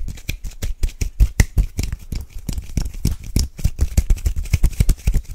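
A tall Batiste dry shampoo aerosol can, with an aluminium metal body and plastic cap, hollow and pressurised, is held in both hands close to the microphone and rapidly tapped and scratched with fingernails along the can and near the cap. The result is a dense, fast stream of short, dry taps with deep low thuds, mixed with bright scratchy clicks that die away almost instantly.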